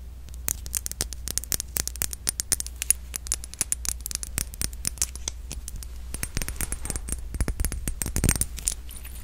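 A palm-sized red glass Modern Muse perfume bottle with a gold metal cap, filled with liquid, is tapped and scratched with long nails. Many quick, crisp clicks and taps, with light scratching, come in rapid clusters over a steady low hum, and each tap has a bright, short edge that dies almost at once.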